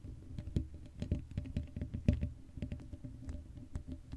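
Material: Metal mesh.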